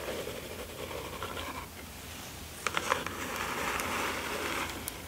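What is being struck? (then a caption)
Small cardboard mailer box. Fingertips and long nails rub and scratch along the edges and sides of a small, closed, hollow kraft cardboard mailer box resting on satin fabric. Soft, papery scraping runs throughout, with a few sharper nail taps near the middle and a brighter, fuller scratching texture toward the end.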